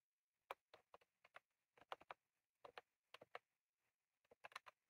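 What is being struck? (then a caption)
Plastic mechanical keyboard with round keycaps. Both hands type rapidly with their fingertips on a full-size, retro-style plastic mechanical keyboard with round cream plastic keycaps and a plastic case, resting on a desk. The keys give sharp, dry, mid-pitched clicks with a bright edge and almost no ring. The clicks come in quick, irregular bursts separated by short silences.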